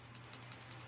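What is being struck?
Plastic brush pen with liquid and a small mixing ball.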